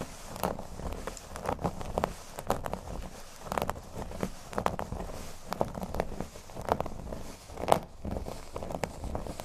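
Fingernails scratch and tap on a flat, thin, solid cork board resting on a table. Soft, dry taps and scratchy crackles come at an irregular pace, with a mid-range tone and no ring after each touch.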